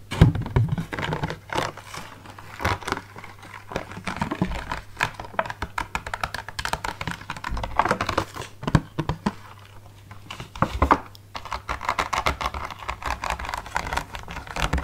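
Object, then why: Rigid plastic clamshell box of grapes. Fingernails tap rapidly on the lid and sides of a clear, rigid plastic clamshell grape punnet full of green grapes, making a dense run of short, dry, typing-like clicks. The clicks come in uneven bursts with brief pauses, over a faint steady low hum.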